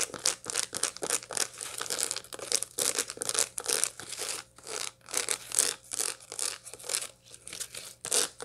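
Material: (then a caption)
Seed husks. Long light-blue nails scratch and tap across the seed face of a large dried sunflower head with its seeds still in place. The result is a rapid run of dry, bright crackling scrapes and clicky taps in short bursts, over a faint steady low hum.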